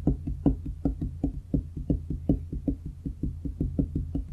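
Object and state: Solid wooden desk top.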